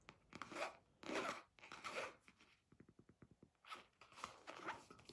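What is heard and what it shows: A small red zippered polyester pencil case with a round basketball patch on the front, closed and hollow, is held up in both hands and tapped and scratched with long fingernails and fingertips. Broad, raspy scratching swells alternate with a quick run of light, crisp taps in the middle.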